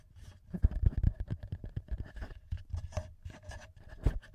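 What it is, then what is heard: Handheld audio recorder tapped and scratched. Fingertips and short nails tap and scratch the top housing and metal-ringed mic capsules of a small black plastic TASCAM handheld audio recorder. The result is a quick, uneven run of close, dull, low thumps with almost no ring, mixed with soft scratchy rustles and a faint steady tone underneath.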